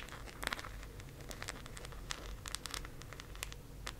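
Long acrylic nails quickly tap and scratch a teal, round, hollow plastic disc case held close up. The result is a rapid stream of sharp, bright clicks mixed with dry scratching over a low, steady background hum.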